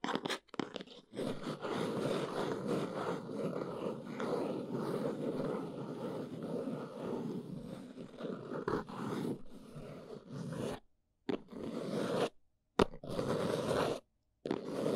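Long nails scratch and tap the sides of a small, hollow, plain brown cardboard box. The result is a steady, dry, crunchy scraping full of warm low-mid texture, with a few sharp taps. The scratching stops briefly for short silences near the end.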